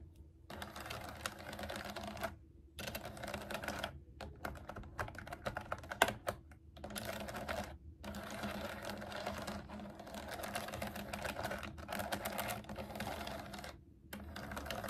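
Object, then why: Plastic mechanical keyboard keys tapped with fingernails. Long acrylic nails type on and tap the round keycaps of a pastel typewriter-style plastic mechanical keyboard resting on a table. Dense runs of quick, light plastic clicks and clacks come in bursts, broken by brief silent pauses, with one sharper tap standing out near the middle.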